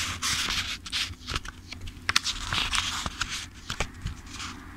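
Fingertips riffle and flip the page edges of a thick-paper paperback book. Bright, papery fluttering comes in quick bursts, broken by sharp crisp ticks as pages snap past, over a faint low rumble.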